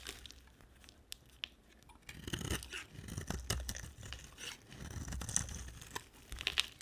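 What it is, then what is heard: Dry bar soap being carved. A solid oval yellow and blue bar of dry soap is held in the hand and scraped and carved with a utility knife blade. Dry, crunchy scraping and crumbly tearing sounds come in bursts, with bright, crisp clicks over a soft low rumble.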